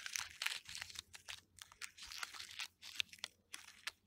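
Fingertips and fingernails scratch and pick at the loose, papery, peeling white bark of a solid, living birch trunk. Dry, bright crinkling and crackling comes in short, uneven bursts separated by brief quiet gaps, with almost no low end.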